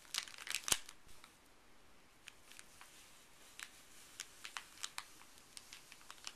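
Fuzzy gloved fingertips rub and scratch a folded, empty, printed white paper pharmacy bag. Quiet, bright, papery crinkles and sharp ticks come at an uneven pace, with a louder cluster of crackles near the start. Softer scattered scratches follow over a faint hiss.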